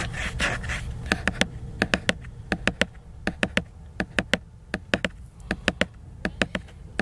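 Fingernails scratch and then tap the glossy laminated cover of a large picture book. A soft, breathy scratching opens the clip, then gives way to sharp, dry, bright clicks that fall mostly in quick groups of three, each dying away almost instantly over a faint background hiss.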